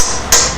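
A metal seal driver made from a machined old piston is hammered against the aluminium extension housing of a Ford BTR/ION/DSI M74/M74LE 4-speed automatic transmission while seating the rear seal. A single sharp strike gives a bright, high-pitched metallic ring that fades within a quarter second. The changed sound shows the driver has bottomed out on the housing and the seal is fully seated.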